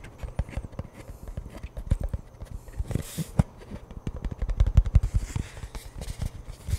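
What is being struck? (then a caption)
Cardboard chip tube with plastic lid. Fingers rapidly tap and knock on the plastic lid end and along the side of a hollow cardboard Pringles chip can. The result is a fast, irregular stream of short, dull, hollow thumps, deep and bassy with almost no brightness, each dying away almost instantly. A few knocks land noticeably harder than the rest.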